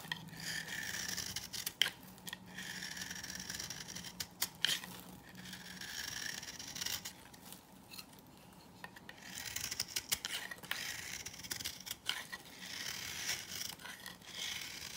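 A knife scrapes a hand-held, solid, dry, old coral-pink bar of soap, cutting shavings and powder off it. Bright, raspy scraping strokes come in steady bursts, with sharp clicks as the blade catches, at a fairly quiet level throughout.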